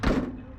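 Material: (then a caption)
Steel. The heavy steel door of a 1941 Chevrolet business coupe sedan is closed, giving a single low, solid thunk that dies away quickly with a short, dull ring. The door sounds solid and good, a heavy, well-built steel door.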